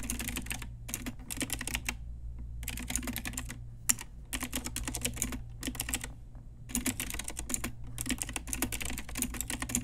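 Both hands type fast on a pink Ajazz typewriter-style retro mechanical keyboard with round plastic keycaps, striking the keys with long nails and fingertips. Rapid bursts of bright, sharp plastic clicks alternate with short pauses. A steady low hum runs underneath throughout.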